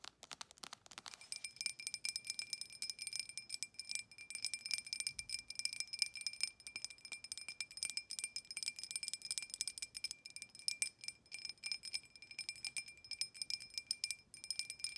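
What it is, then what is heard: Glass tumbler tapped with fingernails. Long acrylic nails rapidly tap a clear, empty, hollow drinking glass with an embossed pattern. Quick, bright clicks blend into a steady, high, ringing chime with sustained glassy tones throughout.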